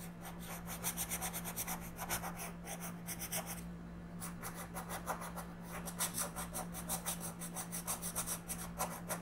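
A wooden colored pencil is rubbed in short coloring strokes across a thin paper coloring book page lying flat on a table, held down by one hand. Quick, bright, scratchy rasps repeat in rhythmic bursts, with a brief pause near the middle, over a steady low hum.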